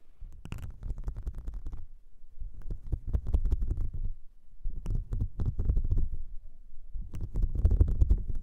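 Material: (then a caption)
Silicone. Long blue nails scratch and tap a flat, whale-shaped blue silicone makeup brush cleansing mat with a ridged and nubbed texture, held up in the hand. The sound comes in four bursts of rapid, dense scratching and tapping, low and muffled with a soft rumbling thud, separated by brief quiet pauses.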